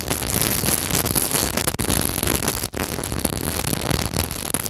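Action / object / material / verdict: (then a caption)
scrape / glass beaded pillow / glass beads / none. The metal grille of a mini microphone is scratched and rubbed over a glass beaded decorative pillow covered in pearl seed beads and clear glass bugle beads. The result is a dense, continuous crackling scratch with a bright, hissy edge and a low rumble beneath, broken only by two brief dips in sound as the rubbing pauses.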